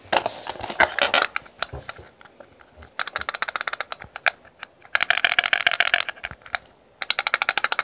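Long pink nails tap and scratch the lid and ribbed sides of a small, rectangular, clear ridged plastic cosmetic case holding pressed powder as it is held and turned in the hands. The result is rapid, bright, dry clicks in bursts with short pauses, plus brief scratchy rustles and no low end.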